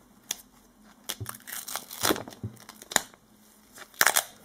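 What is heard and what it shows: Fingertips in disposable latex gloves squeeze, rub and press a short strip of thin, flexible black cloth-backed duct tape folded over on itself. They make scattered sticky crinkling and crackling bursts that are bright with almost no low end, and the glove rubbing may add some sound. The bursts are separated by quiet gaps, with a denser cluster near the end.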